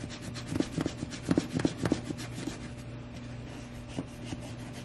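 A small suede cleaning brush is rubbed back and forth over the side and toe of a tall tan suede sheepskin Bailey Button-style boot held on the lap. Soft, brushy rasping strokes come in quick, uneven bursts, with a steady low hum underneath. The strokes are loudest in the first two seconds, then fade to quieter scrubbing.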